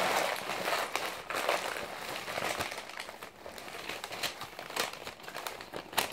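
Fingertips crumple, squeeze and flip a thick, already wrinkled bundle of blue-and-white glossy printed magazine pages held on a lap. The result is a steady, dry crinkling with bright crackly bursts as the pages are pressed and turned, and almost no low end.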